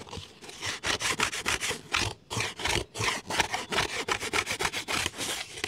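A large, round, red plastic lid with ribs and a center knob, thin and hollow-backed, is held in one hand while the fingers and nails of the other hand scratch and rub across it. This produces a rapid, irregular series of dry, bright, raspy strokes, each a short burst of scraping with little low end and almost no ring.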